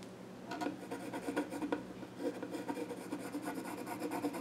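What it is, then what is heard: Pencil scratching on a wooden stool top. A pencil scratches drawing strokes across the flat top of a small wooden child's stool. After a quiet half-second start come dry, raspy strokes in short bursts, pausing briefly around two seconds before resuming. The result is quiet, scratchy and close, with little ring.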